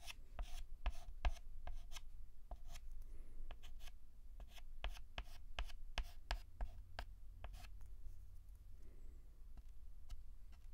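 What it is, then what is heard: Chalk writing on a chalkboard. A stick of white dustless chalk held in the fingertips writes letters on a flat black antique blackboard. Quick, sharp scratching strokes and taps come in a steady, irregular run over a constant low hum. Each stroke stops dead with no ring.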